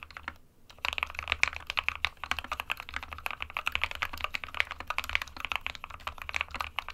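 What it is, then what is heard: Plastic mechanical keyboard. A small 60% mechanical keyboard with a white plastic case and plastic keycaps, resting on a printed desk mat, is typed on with the fingertips of both hands. After a brief quiet gap near the start, rapid bright plastic key taps clatter on steadily in a dense, uneven stream, with a faint low hum underneath.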